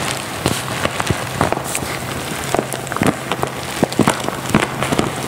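A medium resealable printed pouch of Anthony's French lavender, appearing to be plastic or plastic-lined and full of dried lavender buds, is held in one hand and crinkled by ringed fingertips, likely squeezed or shaken. Steady soft rustling of the buds is punctuated by sharp, bright crinkles and crackles throughout, over a faint low hum.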